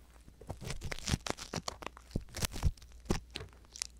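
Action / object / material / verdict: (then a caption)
scrape / silicone ear on a binaural microphone, scraped with an ear pick / silicone / none. An ear pick scratches inside the canal of the right silicone ear on a binaural microphone. It makes a series of dry, crackling scratches and rustling crunches with sharp bright bursts. A faint low hum runs underneath.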